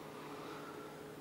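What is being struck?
Nothing is struck.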